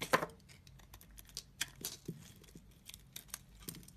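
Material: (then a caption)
Soap. A utility-knife blade scrapes a solid, heavily carved orange soap bar, and the shavings pile up. A loud crisp scrape opens the clip, followed by a series of short, quiet, dry scraping and crinkling cuts with bright, high edges and almost no ring.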